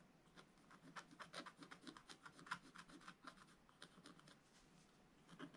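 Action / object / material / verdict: scrape / black-coated scratch-art paper scratched with a wooden stylus / coated paper / none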